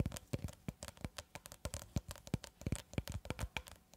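Long red acrylic nails rapidly tap and scratch a long cylindrical roll of clear plastic cling film held horizontally, at one point brought close. The result is a quick, uneven run of short, dry, thumpy taps with crinkly, bright scratching between them, each hit dying away almost instantly.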